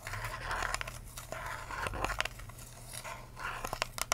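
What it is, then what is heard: Empty plastic cup. Long acrylic nails tap and scratch the sides and blue lid of an empty, hollow, clear ridged plastic cup with a curly straw, held tilted. Soft crinkly scratching swells and fades, broken by sharp, bright clicking taps that stop almost instantly, over a steady low hum.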